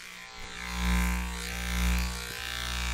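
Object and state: Nothing is struck.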